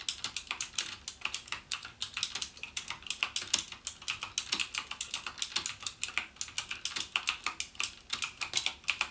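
Fingertips type rapidly on the clicky blue-switch keys of a backlit plastic Cherry MX Blue mechanical gaming keyboard. Dense, bright, sharp clicks rattle off in quick bursts with almost no low end and very short decay. About 56 distinct keystrokes sound over nine seconds.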